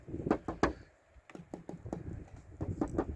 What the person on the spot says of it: you wouldn't know any different unless you tap it because it sounds different